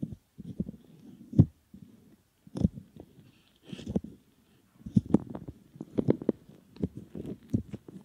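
Fingertips squeeze, fold and rub a soft, solid silicone ear model, making close, muffled low rubbing and squishing sounds. Short soft bursts come and go with brief pauses between them, and a few sharper squeaks and pops cut through.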